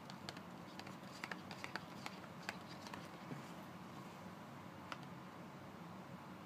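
A closed, empty-sounding Colgate toothpaste carton made of thin printed paperboard, about 20 cm long, lies flat on a cardboard surface while both hands tap and scratch it with fingertips and short nails. About fifteen quiet, sharp papery taps and clicks stand out over a soft, continuous scratchy rustle, each dying away almost at once.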